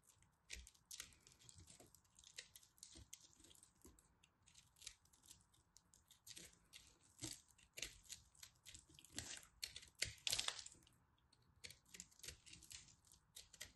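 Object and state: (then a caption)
Pressed soap ball being carved. A small black knife carves into the center of a solid mint, orange and white pressed soap ball held in the hands. Dense, bright crunching and scraping scrapes come in quick, close bursts. The loudest bursts sit around the middle of the clip.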